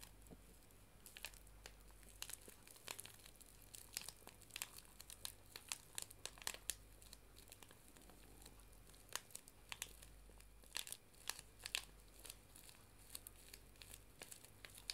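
A small flat paper tea bag sachet is held in both hands and crinkled and squeezed with the fingertips and long nails. Many quiet, bright, dry crackles and crinkles snap out in quick irregular bursts. A steady low hum runs underneath.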